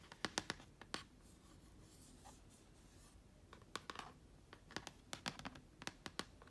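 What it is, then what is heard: Plastic laptop lid with stickers. Long nails tap and scratch a black plastic laptop lid near an Apple sticker and vinyl lettering. Sharp, bright clicks come in quick clusters at the start, give way to a quiet stretch of soft scratching, then return as a scattered run of crisp taps. Each tap is short and dry, with almost no ring.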